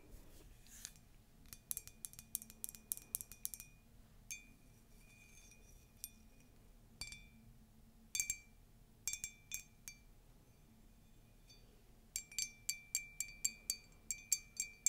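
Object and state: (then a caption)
Ceramic mug, empty. Long nails tap and scratch a tall, white, conical ceramic mug with a colourful text print, hollow and empty. Bursts of quick, bright clicks and clinks come in clusters, each with a brief, high ringing tone that dies away almost at once, against a quiet background.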